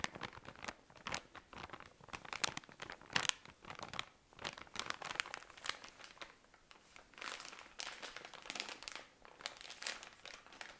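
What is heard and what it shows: A tall cylinder of cotton pads in thin plastic wrapping is squeezed and crinkled with the fingers. Bursts of dry, bright plastic crinkling come in uneven waves with almost no low end. Each crackle stops at once, with no ring.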